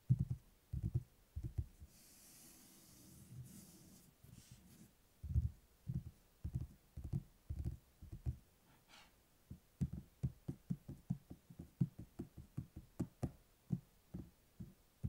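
Fingertips and nails tap and knock on the red cloth-covered board cover of a closed, solid hardcover book lying on a table. The result is a series of short, dull, low-pitched thuds in uneven clusters, with a quieter stretch of faint rustling early on.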